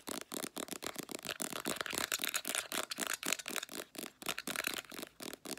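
Long nails rapidly tap and scratch a full-looking Clearasil 150 ml plastic squeeze tube of face wash, hitting both the tube body and its white plastic flip cap. About twenty quick, uneven taps mix with scratchy rubbing, producing a dry, bright, papery clicking with no ring after each hit.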